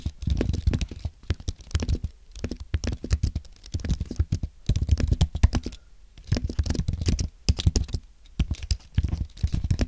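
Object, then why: Aluminium and plastic keyboard. Fingertips type on a compact white aluminium and plastic Apple keyboard, producing rapid bursts of soft, low, thudding key presses with brief pauses between runs. Each tap is short and dull, with little ringing and only faint bright clicks on top.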